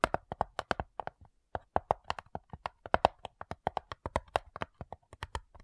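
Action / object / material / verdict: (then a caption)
tap / wooden cigar box / wood / none. Long fingernails tap rapidly across the lid of a closed, hollow wooden cigar box, a flat rectangular box of light wood with printed labels and small metal clasps. About 33 short, dry, hollow clicks with a mid-pitched wooden tone ring briefly and die away almost instantly. They come in a quick, uneven patter with one brief pause early on.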